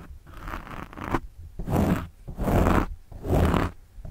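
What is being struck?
Foam microphone windscreen.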